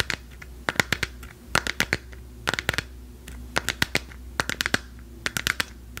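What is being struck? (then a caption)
Plastic lamp sphere. A lit, hand-sized hollow plastic sphere printed with a galaxy pattern, held in both hands, is tapped and scratched with long acrylic nails. Short, dry, clicky taps land in quick clusters with brief scratchy strokes between them, each tap bright with a hollow tone around 2 kHz. A quiet steady low hum sits underneath.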